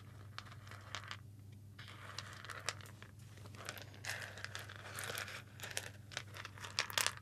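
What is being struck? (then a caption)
Roasted coffee beans on a ceramic plate. Fingertips rub and pinch whole roasted coffee beans on a white ceramic plate held up in one hand. It makes a quiet, dense run of dry, bright clicks, crunches and rattles, with short sharp ticks rising over a soft rustle. A steady low hum runs underneath throughout.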